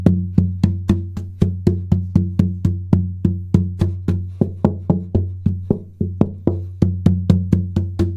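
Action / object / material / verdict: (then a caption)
tap / Sitka spruce acoustic guitar top / spruce / none. A Sitka spruce acoustic guitar top, thinned from 3.2 mm to about 3 mm because it was too thick, is tapped 31 times at roughly four taps per second to check its tap tone. Each tap gives a short, dull, woody knock with a low resonant ring near 180 Hz and a strong low body that dies away within a fraction of a second.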